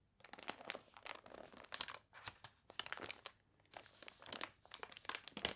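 A page of a thick, glossy paper toy catalog with wavy, water-crinkled pages is turned and crumpled by hand, then long nails rub across the spread. Crisp, bright crinkles and crunchy bursts come in quick clusters with short pauses, carrying almost no low end and dying away instantly.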